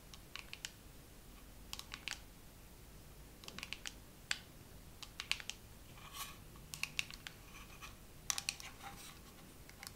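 Fingernails tap slowly on a dermaroller case in a second round of tapping. The sound is a series of short, bright, crisp clicks with a few light scratching sounds between them, quiet and dying away almost instantly.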